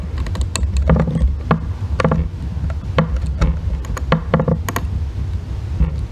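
A thin metal tool scrapes the corner of a solid green bar of soap held on a white box, shaving off curls that pile up. Short, crisp scraping ticks with bright edges repeat irregularly over a steady low rumble.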